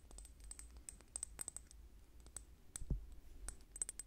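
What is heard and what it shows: Long painted nails tap and click quickly on a small clear square glass bottle with a metal cap or stick on top, held in the hand beside the microphone. Short, bright, dry clicks come in an irregular run over a steady low hum, with one louder knock near the end.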